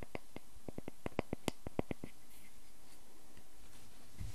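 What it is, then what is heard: Solid wooden log slice. Fingertips tap on the cut face of a solid, round wooden log slice with growth rings, and nails scratch along its bark edge. A quick, uneven run of soft, dull taps with bright clicky tops fills the first two seconds, then fades into faint, quiet scratching and rustling.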